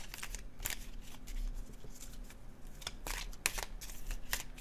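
A red laminated cardstock tarot deck is held in the hands and overhand shuffled above the table, its paper cards rubbing and sliding against each other. The shuffle makes quick, bright, papery swishes and soft flicks over a steady low hum.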